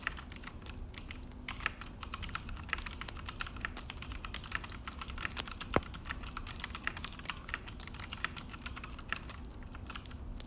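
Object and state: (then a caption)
Plastic mechanical keyboard. Both hands type fast with their fingertips on a full-size Akko mechanical keyboard with an orange plastic case and black plastic HyperX keycaps, resting on a desk. A dense, continuous stream of short, sharp plastic key clicks and taps, with some louder presses, sits over a steady low background rumble.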